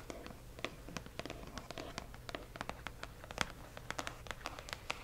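A single fingernail and fingertips rub and scratch a hollow cardboard box printed with "Accio!", with some tapping along its lower edge. The result is a quiet run of dry, quick scratches and light taps with bright clicky edges that stop instantly, over a soft steady low hum.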